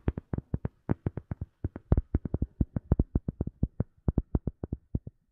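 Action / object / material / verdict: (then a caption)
tap / rubber sheet / rubber / none. A rubber sheet is tapped with quick, irregular taps, producing 34 soft, dull thuds. Each tap is low and muffled with almost no ring, dying away almost instantly.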